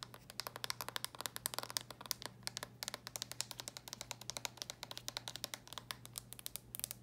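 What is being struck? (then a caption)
Plastic handheld game console. Long nails tap quickly on the lid and edge of a red plastic handheld game console, close up. The result is a rapid, quiet stream of sharp, bright plastic clicks with almost no ring, over a faint steady low hum.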